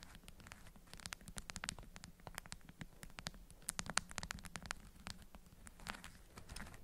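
Long fingernails tap and scratch an orange-print, beeswax-coated cotton food wrap bundle cupped in both hands, producing a quiet, crinkly patter. Dozens of short, dry, bright clicks and scrapes are heard, with no ring after each, over a faint low hum.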